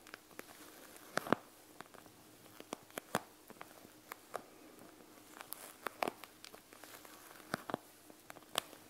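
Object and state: Plastic gel bead eye mask.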